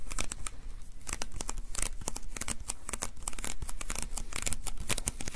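Fingertips and palms repeatedly tap and rub the adhesive paper roll of a small white plastic lint roller. Dense, rapid tearing and crackling pops come from the sticky surface, with bright, sharp transients over a low rumble, in a steady, continuous texture throughout.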